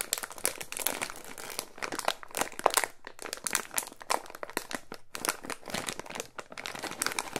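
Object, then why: Clear plastic zip bag. A small clear plastic resealable zip bag holding a coiled white cable is held, squeezed and rubbed with the fingertips. It gives a dense, continuous run of bright, crisp crinkling and crackling with quick snapping bursts and little low end.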